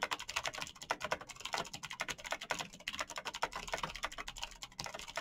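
Fingertips in knitted fingerless gloves type fast on a black plastic Razer mechanical keyboard with backlit keycaps, clicky green switches and a hollow plastic body. A rapid, uneven stream of sharp, bright clicks and clacks dies away almost instantly, with very little low end.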